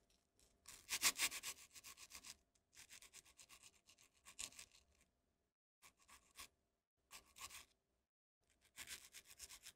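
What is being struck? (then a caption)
Small dry almond biscuit. A small, round, dry amaretti biscuit, solid and crumbly, is held over a wooden mortar and rubbed and crumbled between the fingertips, with a second biscuit in hand by the end. Bright, crackly crunching and gritty rubbing come in bursts separated by short silences, with the loudest crumbling near the start. The biscuit breaks down into crumbs over the mortar.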